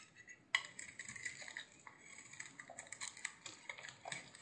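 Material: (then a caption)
Soap. A utility knife blade scrapes and flakes a hand-sized, solid green bar of soap with a blue glittery rim. A sharp crisp crack opens the sound, followed by a quiet run of bright, dry scraping and small crackling flakes with almost no low end. Each scrape is short and dies away instantly without ringing.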